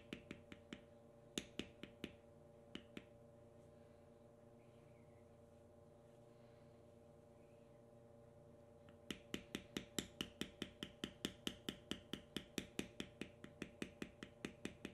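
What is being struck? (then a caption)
Leather strip on a stone slab, struck with a metal beveling stamp. A knurled metal beveling stamp held in the fingers is struck in fast repeated taps along the knotwork lines of a carved, tan vegetable-tanned leather strip resting on a stone slab. Sharp, dry clicks come in a scattered handful over the first three seconds, then a quiet pause with only a steady low hum. From about nine seconds, a rapid, steady run of bright taps follows, about 38 in all.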